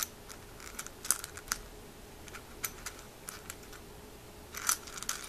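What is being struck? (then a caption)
Snail shells in a small glass jar. Fingertips rummage through a small white milk glass jar full of dry, hollow snail shells, lifting individual shells so they clatter. Sharp, bright clicks and light rattles come in scattered bursts, with louder clusters near the start and end, over a quiet background with a faint steady low hum.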